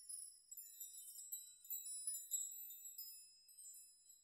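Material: Metal.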